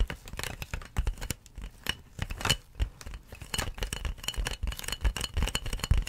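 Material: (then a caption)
Plastic. Long nails scratch and tap along the ridged surface of large, clear, inflated plastic air-column packaging with hollow air tubes. The result is a dense, uneven stream of quick crinkly scratches and bright plasticky clicks over soft, hollow low thumps. Each tap dies away almost at once.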